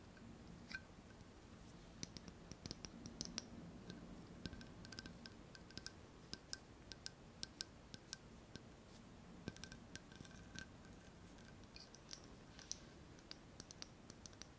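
Long fingernails repeatedly tap a small, clear, apparently empty glass jar and the rim of its metal screw lid. Dozens of quiet, sharp, bright clicks with a faint short ring sound at irregular intervals over a soft, low background noise.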